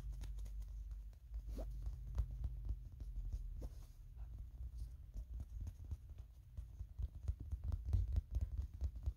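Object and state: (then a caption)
Plastic toy figure tapped and scratched. Fingertips and nails tap and scratch a small hand-held Kirby toy figure of molded plastic with a purple and yellow hat. Quick, light, dull clicks and scratchy patters run on continuously over a low rumble, each tap dying away almost at once.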